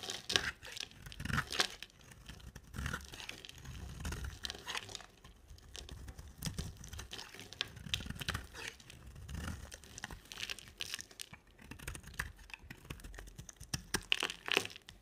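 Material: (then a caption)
Soap. An oval bar of solid cream soap with a black coating is shaved with a utility knife blade. Dry, crisp scraping and crumbling rasps with a bright, crackly edge come in quick uneven strokes across the clip, with soft low thuds underneath.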